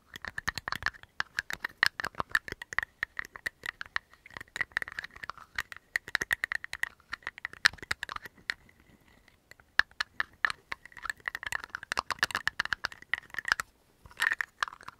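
A small clear plastic bottle with a black cap is opened and closed rapidly with the fingers, producing a fast, dense stream of sharp clicks and scratchy snaps. The clicks carry a bright tone near 1.7 kHz and stop briefly around the middle before resuming.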